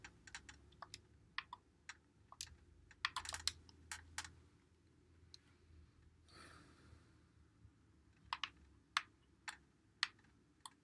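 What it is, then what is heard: Plastic game controller, buttons clicked. A white Xbox One controller with a hollow plastic body, held in both hands, is clicked as fingertips press its buttons and thumbsticks. Sharp, bright, very short clicks come in irregular bursts over a quiet low hum, about two dozen in all. A soft, brief hiss passes midway through.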